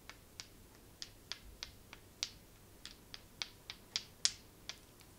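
Long nails tap repeatedly on a small, flat, black polished stone that is solid and held in the palm. Thirteen sharp, bright clicks come at an uneven pace, each dying away almost at once over a quiet background hiss.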